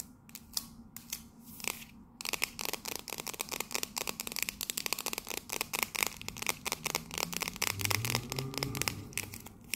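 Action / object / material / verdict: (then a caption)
tap / metal coffee tin / metal / none. A tall, hollow, cylindrical metal King's Blend coffee tin with a red scale pattern is held upright and tapped and scratched with long nails. A few sharp, bright taps with brief pauses give way to a dense, fast run of crisp clicks and raspy scratches. Each contact is dry and short, with almost no ring.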